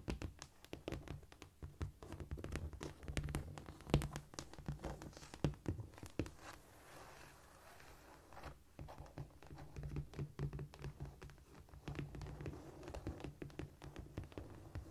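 Long nails scratch, scurry and tap across a flat, solid cork floor, making a dense run of dull, low thuds mixed with dry scratching. The taps come in irregular bursts, with a softer stretch of mostly scratching in the middle before the tapping picks up again.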